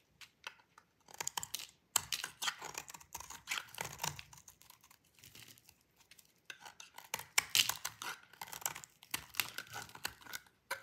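A metal utility-knife blade shaves crunchy curls and flakes from the edge of a solid, light blue bar of dry soap held in the hand, in a repeated scraping and cutting motion. The strokes come as bursts of dry, bright, crunchy scraping and crackling with almost no low end, separated by short pauses.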